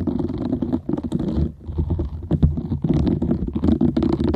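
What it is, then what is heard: Silicone scrubber scratched with fingernails. A green silicone bristle scrubber held in both hands has its nubs scratched and rubbed with long nails, and the pad is tilted at the end. The result is a dense, rumbling rustle of quick scratches with a strong low-end thump and a faint bright hiss, briefly dipping quieter midway before picking back up.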